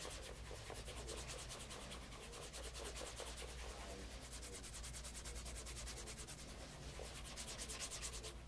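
Cloth-wrapped fingers rub the toe and side of a light brown pebble grain leather loafer fitted with a wooden shoe tree and resting on a leather lap mat. The result is a steady, rhythmic scratchy rubbing with a bright, airy hiss over a low hum.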